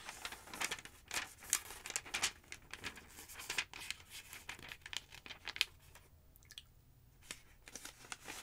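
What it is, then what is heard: Paper phonebook pages. Pages of a large, thick yellow paper phonebook lying open on a wooden table are flipped, and long nails brush lightly across the open page. Bright, crinkly paper rustles and quick flicks come in short bursts, with a quieter stretch of soft rubbing about two-thirds of the way through before the page turning resumes.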